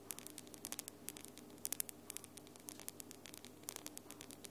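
Long glitter acrylic nails are rapidly tapped with the nail tips of the other hand. The result is a quick, irregular run of sharp, bright clicks that stop instantly, with clusters of louder taps. They sit over a steady low hum and faint static hiss.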